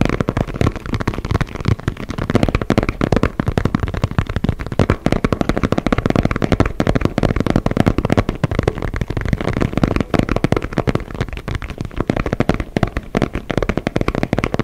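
Fingernails and fingertips scratch and tap rapidly on a white and orange inflated synthetic leather soccer ball held close to the microphone. The result is a dense, continuous stream of short, dry, low-heavy taps and scratchy rustles with very little brightness and almost no ring after each touch.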